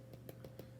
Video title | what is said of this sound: Let's Make Lunch - Cheesy Meatball Bombs | if you tap them they should sound a little bit hollow so the bread is cooked the dough part is cooked